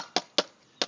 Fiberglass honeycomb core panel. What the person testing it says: it's a dull thud right there